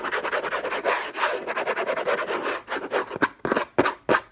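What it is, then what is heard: Cardboard box scratched with fingernails. Fingertips and short nails scratch fast and hard across the lid of a closed, long rectangular orange Hermès cardboard box covered in textured paper, with unknown contents, lying on a fluffy blanket. A dense run of dry, raspy scraping strokes with bright hiss fills the first two and a half seconds, then breaks into a few sharper, separate scratches with short gaps before stopping.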